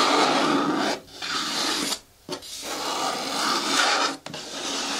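Fingernails scratch and rub along the side edges of an upright green hard plastic bin with a lid and a handle. The result is a dry, raspy, bright scraping that runs in four sustained bursts, separated by brief pauses.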